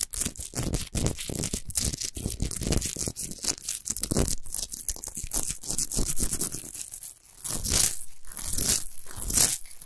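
Fingernails scratch fast and aggressively across the rough surface of a tall orange Himalayan rock salt lamp made of solid salt. The result is a dense, continuous run of gritty, tearing scrapes with a low rumble beneath bright hiss. Near the seven-second mark it dips briefly, then resumes with louder, brighter raking strokes.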